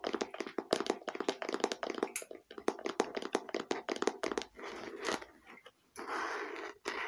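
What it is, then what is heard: Plastic case tapped with fingernails. Long painted fingernails tap rapidly on a small hollow red glossy plastic case held in the hands, making light, dry clicks with a hollow mid-pitched knock. The taps then give way to softer, sustained scratchy rubbing across the case, with a few more taps in between.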